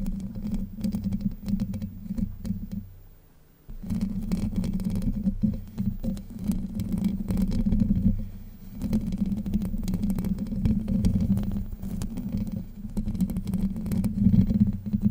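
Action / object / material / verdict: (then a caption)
scrape / steel mesh microphone grille / steel mesh / none. Long white nails scratch and tap the hollow domed steel mesh grille of a Blue Yeti microphone. The result is a dense, close, low-heavy rasping and tapping with a steady hum-like tone near 195 Hz, broken by a brief quiet pause around the third second before the scratching resumes.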